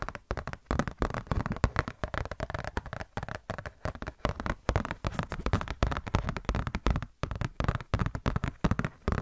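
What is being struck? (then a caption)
Glossy paper catalog booklet. Long nails tap and scratch a glossy paper Blizzard Shop catalog booklet in a dense, steady run of quick, dry clicks and crinkly scrapes. The sound is mostly dull and low-weighted with little brightness, and each tap dies away almost instantly.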